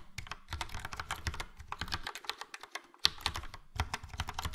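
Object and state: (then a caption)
Plastic mechanical keyboard. Fingertips of both hands type on a full-size plastic mechanical keyboard, a Logitech POP Keys with a yellow frame and round dark grey and light grey typewriter-style keycaps. A rapid, uneven stream of short, crisp clacks with low thumps underneath fills the clip. It pauses briefly before a sharper, bright click and resumes.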